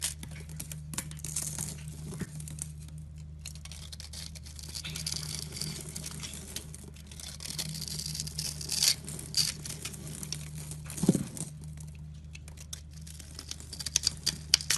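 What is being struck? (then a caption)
Bar of soap. A metal utility-knife blade cuts and scrapes a green solid bar of soap held in a hand with blue-painted nails, shaving off small soap cubes. Soft, crisp crackling and scraping carry bright, high hiss over a steady low hum, with a few sharper snaps standing out.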